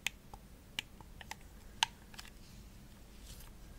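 Long nails tap and scratch the shell of a hollow, purple glossy plastic Xbox controller held near the face. About six sharp, bright, clicky taps stand out in the first two seconds, each dying away instantly. They give way to a soft, faint scratching over a quiet background.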